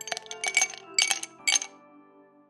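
Ice cubes are dropped into a drinking glass, making a quick run of bright, high glassy clinks in three clusters. The clinks ring briefly, and a faint low tone lingers under them as they fade.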